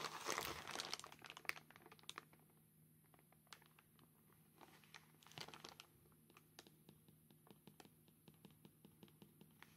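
A grey plastic postal mailer bag with a paper customs label is held close up while hard black claw tips scratch and tap across the label and gloved hands crinkle the plastic. A loud, bright crinkling burst opens the clip, then quieter sharp taps and scratches continue, with another brief swell of crinkling midway.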